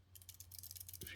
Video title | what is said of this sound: The Roxon Flex S804 multitool #edc #tools #review #multitool #unboxing #diy #roxon | when you shake it, there are these two the locking buttons there. Just rattle around.